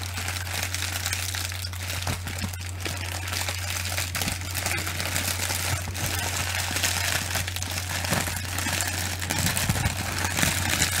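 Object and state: Plastic bubble wrap crinkled.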